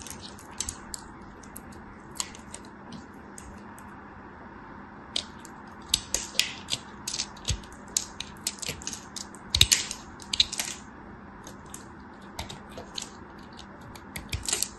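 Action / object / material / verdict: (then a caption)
scrape / bar of soap scraped with a knife blade / soap / none. A solid block of dry yellow bar soap is held in the hand and carved and scraped with a dark craft knife blade, chipping off crumbly pieces. Irregular bursts of crisp, bright scraping and crackling clicks come in clusters over a quiet background.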